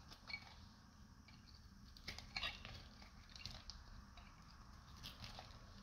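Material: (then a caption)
Soap. A solid, dried light blue soap bar is held in both hands and shaved with a metal knife blade, and brittle flakes break off. Quiet, bright, crisp scraping and crackling continue throughout, with a few sharper snaps near the middle over a faint low background rumble.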